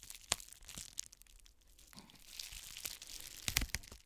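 An iridescent plastic bubble mailer is held up by its top edge and crinkled with long nails and fingertips. Soft, bright crinkling rustles run throughout, broken by sharp crackling snaps near the start and a cluster of louder crackles near the end.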